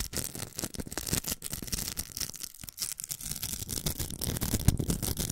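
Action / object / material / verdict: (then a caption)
scrape / plastic velcro hair roller / plastic / none. Long nails scratch the outer velcro of a large, hollow, pink plastic velcro hair roller, making a dense, crackly rasping with a bright hiss and a low rumble. The scratching runs almost continuously in quick rough strokes, easing briefly just past the middle before resuming.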